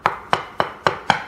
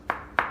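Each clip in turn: First: hollow-sounding ceramic floor tile. Second: solid floor tile.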